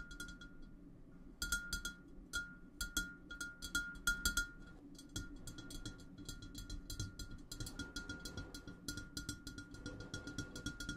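Fingertips of both hands tap and stroke the sides of a large, clear, empty, hollow glass vase standing on a table. The result is a steady run of quick, light taps and bright clinks, each carrying a short ringing tone near 1.4 kHz over a soft low rumble. The loudest taps come in the first half.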